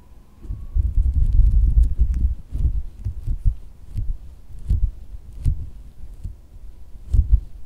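A pink soft silicone squishy dog toy resting on white fabric is tapped with fingertips and nails, then squeezed by hand. It gives dull, muffled low thumps and soft squishing, with faint bright clicks from the nails and quick decays.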